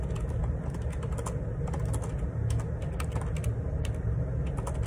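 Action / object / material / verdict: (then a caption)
tap / plastic split keyboard / plastic / none. Fingertips type a steady run of key taps on the plastic keycaps of a black plastic Perixx Periboard 612 wireless Bluetooth dual ergonomic split keyboard resting on a grey table. The quick, bright clicks sit over a constant low hum that fills the whole clip.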